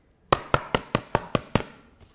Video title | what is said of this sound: 19th Jan: Wake Up Call with Craig | it sounds, it's really firm, because Kalal All-Purpose fuses with the card and the paper, makes them join so they're one